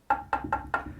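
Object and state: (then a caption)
Plasterboard solidly backed by adhesive dab. Four knocks on a dot-and-dab plasterboard wall, struck where the adhesive dab sits behind the board. Each knock is short and dense with a quick decay, centred around 800 Hz, showing the board is solidly backed at that spot.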